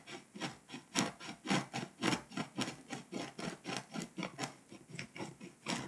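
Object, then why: Foil-coated paper scratch-off map. A pink scraper rubs and scratches the foil coating off a flat, foil-coated paper scratch-off map, leaving foil shavings piling up. Sixteen quick, fairly regular rasping strokes sound with a bright, papery scratch over a low-mid body, each dying away almost at once.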